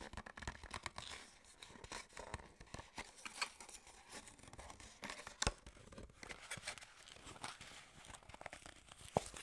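Fingertips and long nails grip, tap and scratch a small, hollow, printed white-and-red skincare paperboard box and its end flap. The result is a dense run of quiet, dry crinkling and scratchy tapping with a bright, papery edge. A few sharper clicks stand out near the middle and at the end.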